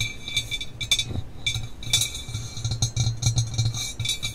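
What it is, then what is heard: Glass mannequin head. Both hands tap and knock with fingertips and nails on the sides and top of a life-size hollow red glass mannequin head, likely a binaural microphone holder. The result is a rapid, irregular run of bright glassy clinks with a thin, high ring around 3.5 kHz over soft, low hollow thuds. Each hit dies away almost at once.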